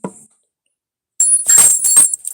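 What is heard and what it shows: A silver Capped Bust half dollar is ping-tested for comparison with a cracked coin that would not ring. After a brief soft tap, the coin gives a clear, bright, sustained high ring with a few overlapping pings. The coin rings well, as a sound one should.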